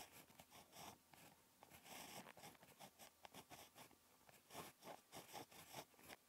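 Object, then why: Ballpoint pen tip on lined paper. A ballpoint pen tip scratches across a flat, lined paper notebook page while handwriting, making quiet, dry, bright scratching strokes in short bursts. The strokes come in a quick, irregular rhythm with brief pauses between words.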